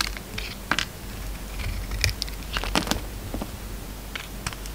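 A yellow utility knife shaves the glossy red outer layer off a solid oval bar of soap with a peach core. Short, dry scraping and crackling strokes with bright edges come and go over a steady low hum, each stroke ending almost at once.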